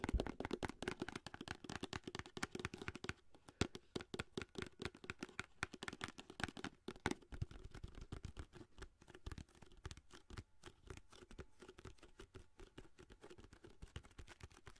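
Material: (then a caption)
Cardboard. Long nails rapidly tap and scratch the side of a long orange cardboard aluminum foil box, held horizontally with the foil roll inside. The result is a dense run of quiet, dry, hollow clicks with a low body, mixed with brighter scratchy rasps that die away almost instantly.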